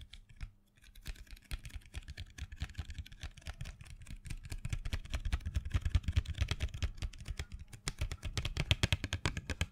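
A small printed cardboard box full of colored pencils, held in hand, is tapped and scratched with long fingernails. Quick, irregular taps give dull, low thuds with short, bright clicking edges, mixed with dry scratching over the cardboard. The taps grow busier and slightly louder toward the end.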